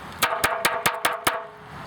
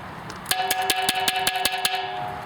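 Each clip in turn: First: porous low-fired clay pot. Second: hard high-fired ceramic pot.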